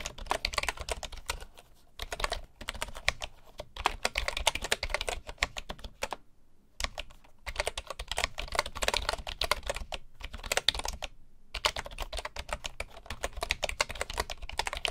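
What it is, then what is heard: Bamboo wooden computer keyboard. Fingertips type on the wooden keys of a full-size bamboo computer keyboard, giving a steady stream of short, dry, bright clicks with brief pauses between bursts. Each tap is crisp and dies away almost instantly.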